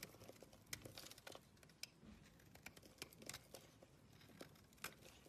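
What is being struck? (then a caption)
Solid bar of soap. An oval, solid blue bar of soap is scraped and shaved with a metal blade, giving quiet, bright, crinkly scraping with scattered sharp crackles and ticks. Each short stroke ends instantly with no ring.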